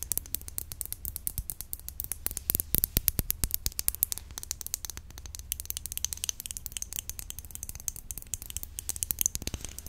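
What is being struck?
Small glass nail polish bottle.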